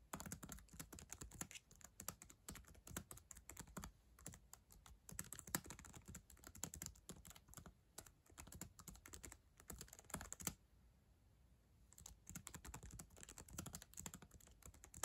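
Long acrylic nails tap the plastic keys of a black ThinkPad laptop keyboard while typing, producing rapid, dry clicks with a sharp, bright tick on each keystroke. The quiet, steady typing pauses for about a second just after the 10-second mark, then resumes until the end.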